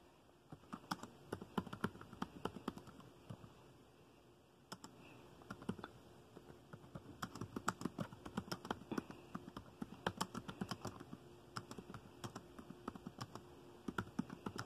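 Fingertips of both hands tap dark plastic laptop keys while typing, producing rapid, short, dry clicks with a soft low thud beneath each press. The typing runs in quick bursts, pauses briefly near the middle, then resumes at a steady pace to the end.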